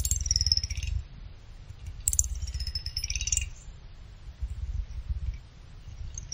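A small pick scrapes across the top and side fins of a small finned aluminum CPU cooler heatsink resting on a blanket, producing rapid clicking. There are two main scraping passes, each a bright, high, whistle-like rattle over a low, steady rumble. Softer, scattered clicks follow afterward.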